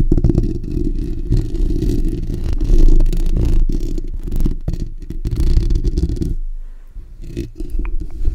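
Fingertips and short nails from both hands scratch the bare steel wire-mesh grille of a black desktop condenser microphone with a hollow dome. The result is a dense, rumbling low-frequency scratching and rubbing with quick uneven strokes and thin bright edges. Near the end it briefly drops to a quieter low hum, then the scratching returns.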